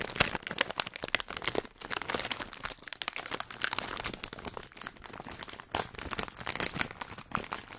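A hand-sized Hot Nuts printed plastic foil snack bag, apparently full, is crinkled and squeezed between the fingertips of both hands close to the microphone. Dense bursts of bright, crackling crinkles follow one another with only brief quieter gaps.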